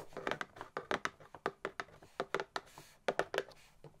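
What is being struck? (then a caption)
Cardboard box. Long nails tap and scratch along the top edge of a hollow, printed cardboard gift box. The result is a quick series of dry, papery taps and short scratches, each dying away almost at once. The sound is mid-pitched and thin, with almost no low end.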